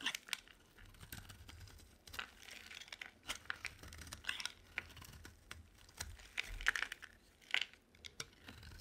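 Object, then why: Soap bar cut with a knife blade. A utility knife blade carves flakes from a solid, rounded white bar of dry soap held in the hand. Crisp, bright scraping and crunching cuts come in quick, uneven strokes, each dying away almost at once. Between them there is only a faint low hum.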